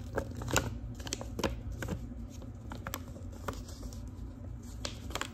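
Long pink nails tap on the flat paper surface of a large yellow-brown manila envelope with a metal clasp. The result is a series of soft, quick, papery taps with a slight crinkle. The taps are dry and short over a low, steady background hum.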